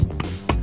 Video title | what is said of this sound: Michael's Pay Back! | Okay, I'm going to tap the mic against the ice block. It's solid ice.